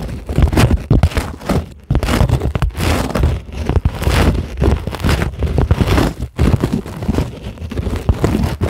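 Long, glittery acrylic nails on both hands scratch a flat, solid, white closed-cell polyethylene foam sheet. The result is a dense, continuous run of rough, crackly scratching bursts with a heavy low-end rumble and little brightness. It pauses briefly twice before carrying on.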